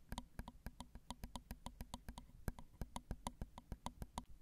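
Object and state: Metal recorder microphone capsules tapped with nails.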